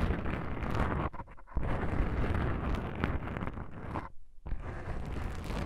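Long pink nails scratch the surface of black foam microphone windscreens with both hands. It produces a dense, boomy rustling and crackling that is heavy in the low end, with brief quieter gaps where the scratching pauses.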